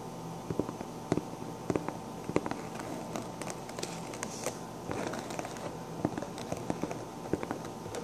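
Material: Sequins.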